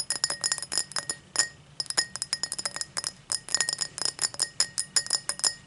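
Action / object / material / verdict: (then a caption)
tap / tall drinking glass / glass / none. A tall drinking glass is tapped in quick, irregular bursts, giving bright, high glass clinks with a faint lower tone beneath. Each clink is crisp and dies away almost immediately, with brief pauses between the clusters of taps.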